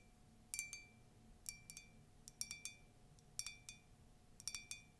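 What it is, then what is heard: Ceramic mug tapped with nails. Long nails tap and scratch the side of a tall, hollow, empty white ceramic latte mug with a colourful text print. Five quick bursts of bright, clinking taps come in small groups, each with a short ring around 2.3 kHz and higher overtones. A faint steady hum runs underneath.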